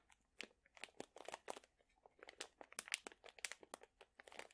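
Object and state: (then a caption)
Plastic pouch of dried chili peppers. A sealed plastic pouch full of dried chili peppers is crinkled and squeezed with fingertips and nails. It gives quiet, bright, crackling crinkles in a quick, irregular run of short bursts, with a few sharper snaps mixed in and almost nothing low.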